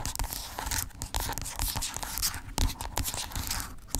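Long pink acrylic nails scratch and tap along a small, hollow, white squeezable plastic lotion tube lying on a fluffy blanket. The result is a busy, irregular stream of crisp tapping and bright, raspy scratching. Short, dull low thumps sound under it, with one stronger knock near the end.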